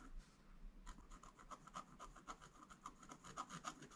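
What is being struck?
Black-coated scratch art paper board scratched with a wooden stylus.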